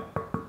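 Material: Bread dough.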